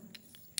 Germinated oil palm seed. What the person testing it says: ini ringan jadi suaranya teman kayak kopong kayak isinya di dalam sudah kopong